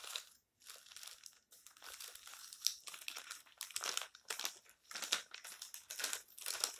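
Fingertips rub the crumpled pages of an open, colorful glossy paper magazine resting on a stack and flip them over. Dense, bright crinkling and rustling comes in short irregular bursts with brief quiet gaps, and no low end.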